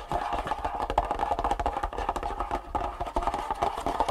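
Long fingernails of both hands tap rapidly on a long, hollow, printed cardboard Superfeet shoe insole box lying flat on a wooden table. The result is a dense, steady stream of dry, hollow clicks with a woody knock centered around 700 Hz. Each tap dies almost instantly.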